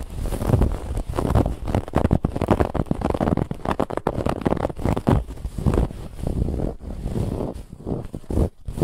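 Fingernails scratch vigorously across the raised woven lattice band of a soft white cushion. The result is a dense, muffled, low-heavy rustling and scraping that keeps going in quick, uneven bursts, with brief near-silent gaps between strokes.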